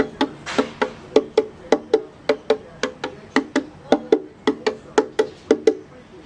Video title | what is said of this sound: 09 Project Violin Part 2 Sanding Day 3 | when you tap it the sound is consistent so I know I've done the right thing I haven't changed that sound